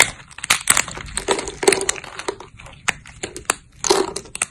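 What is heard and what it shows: Thin, solid cream-white dried soap plates are snapped between thumbs with long grey nails. The snapping gives a run of crisp, bright crunches and cracks, with short, dry bursts that stop almost at once.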